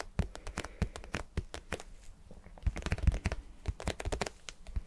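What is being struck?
Vinyl cube.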